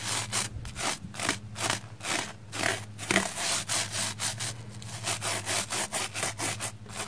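A small black spoolie brush is scrubbed back and forth over a red porous plastic foam sponge block, wet with soap lather and held in hand. About 18 rhythmic, bright, scratchy strokes rise and fall at roughly two per second, with a faint steady low hum underneath.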